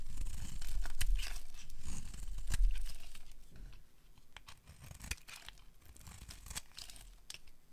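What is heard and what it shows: A metal utility blade carves a solid rectangular bar of dry beige soap held in the hand, scraping off long curls. Dry, crinkly scraping and tearing sounds with sharp, bright clicks run throughout. The scraping is louder over the first three seconds, then becomes softer and more scattered.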